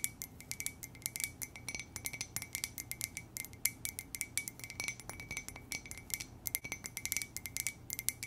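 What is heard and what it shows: A hollow white ceramic coffee mug printed with lips and the word "muah!" is tapped rapidly and gently with long nails. The dozens of quick, light clicks are bright and glassy, each with a brief ring near 2.1 kHz that dies away almost at once over a faint low background hum.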